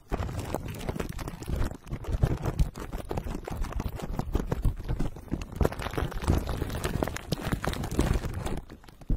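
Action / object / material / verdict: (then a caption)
tap / metal mesh microphone grille wrapped in plastic film / metal, plastic / none. Fingertips of both hands tap and lightly scratch the hollow metal mesh dome grille of a black microphone wrapped in clear plastic cling film. The result is a dense, steady stream of dull, bassy thumps mixed with soft crinkly scratching that barely reaches the high end. It briefly eases just before the two-second mark and again near the end.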